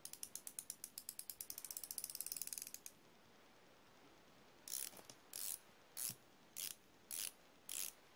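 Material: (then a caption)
Steel. Fingertips turn the ratchet ring and hinged head of a chrome steel flexible-head ratcheting wrench, giving a quick run of bright, dry clicks that speeds up over about three seconds. After a short pause, six separate high ratcheting bursts follow, each a brief buzzing grind with almost no ring.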